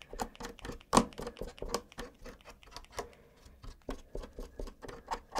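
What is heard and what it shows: A gloved hand rubs and scratches a cotton swab along the exposed brown switches and plate of a black plastic mechanical keyboard with its keycaps removed. The result is a quiet, irregular run of soft scratchy brushing and light ticks with brief bright edges and little low end.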